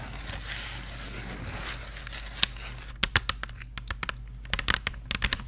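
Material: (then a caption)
Cardboard. Long nails scratch and tap the printed surface of a small Crayola cardboard marker box, hollow with markers inside. A soft, bright, crinkly scratching fills the first three seconds, then gives way to a quick series of sharp, dry, bright taps with no ring, over a faint steady low hum.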